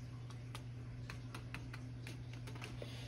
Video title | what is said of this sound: OLD SCHOOL FRIED PORK CHOPS/BISCUITS AND GRAVY/SCRAMBLED EGGS/BIG COUNTRY BREAKFAST SEGMENT | y'all can hear how crispy these are